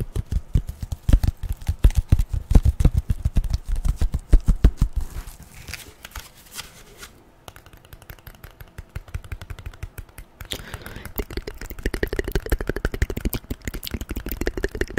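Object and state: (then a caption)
Corrugated cardboard tapped with nails. A flat brown corrugated cardboard strip, folded into a small stack, is tapped rapidly with long nails, making dense, dull, low thuds with short clicky edges. The tapping eases into softer, sparser taps around the middle, then picks back up into quick, busy tapping for the rest of the clip.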